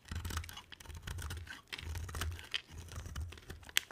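A box cutter blade carves a solid, palm-sized blue striped bar of soap, producing dry, crunchy scraping with bright crackles as chips break away. Bursts of crisp shaving come in uneven strokes over a low, steady rumble, with a sharp click near the end.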